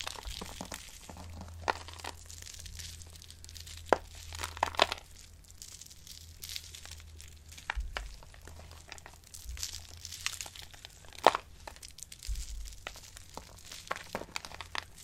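Dry soap shavings are rubbed and crumbled between palms, with the powder falling onto the pile. The result is a steady, quiet, dry crinkling and crunching with frequent short, sharp crackles and bright, brittle snaps, plus a faint low hum underneath.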